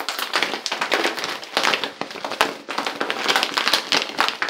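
A medium-size, full-looking Dr Teal's plastic pouch of Epsom salt is held, crinkled with the fingers, tapped and shaken quickly close up. It gives a dense, bright crackling and rustling with rapid, sharp taps. There is almost no low end and each burst stops short.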